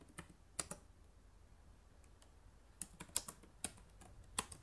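Long nails type and click on the plastic keys of a black laptop keyboard, making about ten sharp, bright clicks at an uneven pace. Each click is short and dies out almost at once, with quiet gaps and a faint low hum between them.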